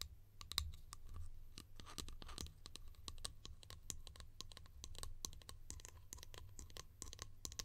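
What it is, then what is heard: Plastic lid tapped and scratched with nails. A small hollow yellow plastic lid is held in the hands and scratched and tapped with long nails. Quick, bright clicks and scratchy rasps run continuously over a steady low hum.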